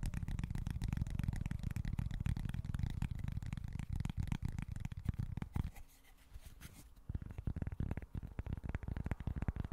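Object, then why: Small flat cork board. Short fingernails scratch and tap across a small, flat cork board, making a dense run of dry, muffled scratches and quick taps that sit mostly in the low range. Around the six-second mark the tapping drops to a quiet lull for about a second before the rapid scratching and tapping resumes.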